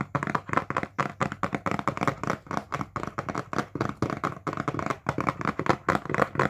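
Fingertips tap on the faces of a medium printed cardboard box for a kitchen appliance, hollow or packed, held upright in both hands. A quick, steady run of short, dull, hollow taps fills the clip, each dying away at once with no ring.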